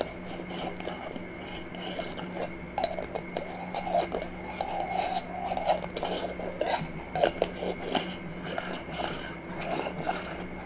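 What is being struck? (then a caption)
Small glass jar with metal screw lid. A small, empty, clear glass jar with a metal screw lid is held sideways in both hands while long nails tap and scratch across the glass body and the metal lid. Quick, light clicks land over a steady rasping scrape, with a mid-range glassy ring around 600 Hz and bright ticks that die away almost at once.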